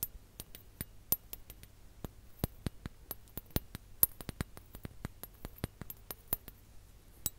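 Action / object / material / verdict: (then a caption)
tap / ribbed glass hourglass / glass / none. A ribbed clear glass hourglass filled with orange sand is held over a microphone and tapped and scratched with long nails. Quick, sharp, bright clicks and clinks sound in an irregular stream over a low hum, each dying away almost instantly.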